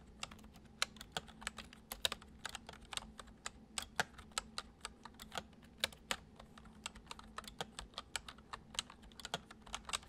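Fingertips tap the keys of a full-size white plastic computer keyboard resting on a wooden desk, typing at a steady, gentle pace. The keystrokes are short, bright clicks that stop almost instantly, over a faint low hum.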